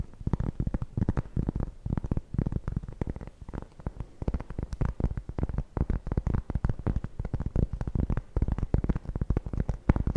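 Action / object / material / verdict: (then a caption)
tap / round cork board / cork / none. A round, flat, solid cork trivet is held up and scratched and tapped with long nails. It gives a quick, steady stream of short, dull, low-pitched taps and scratchy rubs with almost no ring and no bright edge.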